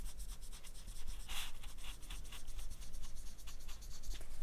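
A marker tip is scratched and rubbed over the peel of a whole, solid, ripe banana held by fingers, moving toward the middle. Quick, dry, papery strokes repeat in a steady series of bright scratches over a constant low hum.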